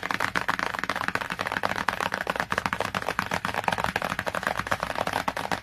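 Long nails tap rapidly and continuously on the glossy cover of a cardboard hardcover book, including near its edge. The sound is a dense stream of short, dry, crisp clicks centered in the midrange with a faint scratchy hiss, each tap dying away almost instantly.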